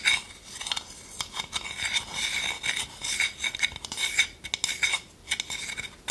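Long nails tap and scratch an empty, small, hollow, round wooden bowl with a wooden spoon resting in it. Quick, short clicks are mixed with dry, raspy scratching that is almost all bright, high-frequency sound and has a faint ringing tone near 2.2 kHz. There is almost no low end.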